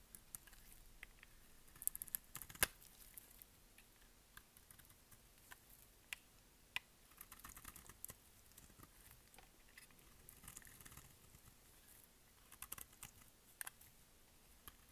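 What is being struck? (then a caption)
Bar of soap shaved with a knife blade. A solid, dry mint green bar of soap is held in the hand and shaved with a utility knife blade. The result is quiet, crisp scraping and cutting, with many short, bright ticks and clicks scattered over a faint hiss. Each tick dies away almost at once.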